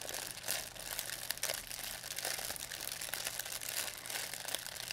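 A thin white plastic pharmacy bag with red and blue print, crumpled into a ball, is crinkled and squeezed in both hands by fingers with long painted nails. The result is a steady, dense, bright crackling with quick sharp crunches throughout and almost no low end.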